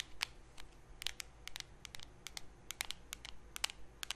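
A small, round, blue metal Nivea cream tin, closed and held in both hands near the mic, is scratched and tapped with long painted nails on its lid and rim. The result is a quick, irregular series of sharp, bright clicks and scratchy ticks that die away instantly with no ring, over a faint low background hum.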